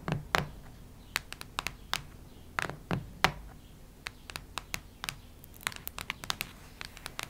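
Long red nails scratch and tap across a solid, cactus-print hardcover notebook, making a run of short, sharp, bright scratches with a few louder strokes early on. Each stroke dies away almost instantly, leaving a faint low hum underneath.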